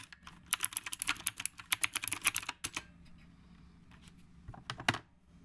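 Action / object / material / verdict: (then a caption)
tap / typewriter-style mechanical keyboard with round plastic keycaps / plastic / none. A retro typewriter-style mechanical keyboard with round plastic keycaps is typed on with the fingertips. A fast run of sharp, bright clicking keystrokes fills the first two and a half seconds, then after a quiet pause a few scattered clicks follow.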